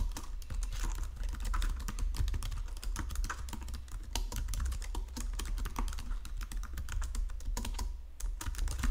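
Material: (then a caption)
Plastic. Fingertips and nails type steadily on a white plastic Logitech keyboard resting on marble, producing a rapid, continuous stream of short, dry, bright key clicks and taps. A constant low hum sits beneath the typing throughout.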